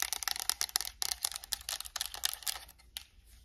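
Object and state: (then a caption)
Plastic game controller. Long acrylic nails tap rapidly across the touchpad, buttons and hollow plastic shell of a white and black PS5 plastic controller. The result is a dense run of crisp, bright plastic clicks with almost no low end, thinning out and growing quieter toward the end.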